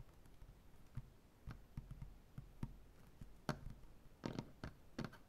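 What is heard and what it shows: Dark-painted fingernails of both hands tap rapidly on a solid, light wood butcher-block tabletop. The quiet, dry knocks are mostly low and thuddy, die away almost instantly, and come in uneven bursts. Sharper, brighter clicks cluster near the end.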